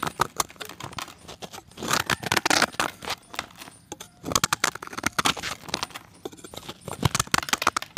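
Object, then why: Pressed chalk disc shaved with a steel blade. A solid, palm-sized round white disc of pressed chalk is held in the fingers and shaved with a steel box-cutter blade, with the flakes falling into a dark pan. A dense run of short, dry, bright scraping and crunching strokes comes through, with louder flurries around two and five seconds.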